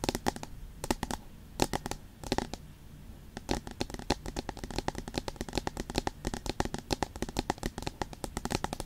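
Long pointed nails rapidly tap and scratch the flat aluminium back of an iPad with the Apple logo. Dozens of sharp, dry clicks with almost no ring come in quick bursts, with a brief quieter scratchy stretch midway. The taps turn denser and more steady toward the end.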